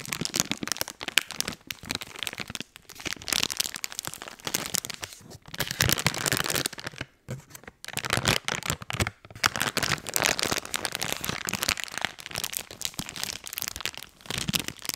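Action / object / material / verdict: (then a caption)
scrape / soft plastic wet wipes package / soft plastic / none. A full blue soft plastic wet wipes pack is crinkled and scratched by fingertips close to the mic. Dense, bright crackling and rustling rise and fall in bursts, with a few brief pauses along the way.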